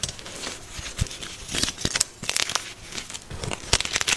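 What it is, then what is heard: Gym chalk block crumbling. A fresh, soft, solid white magnesium carbonate gym chalk block is squeezed and cracked in both hands by fingers and thumbs, then rubbed and crushed against the powder pile. The result is a dense, dry, bright crackling and crumbling with short, sharp snaps over a soft gritty rustle, and almost no low end.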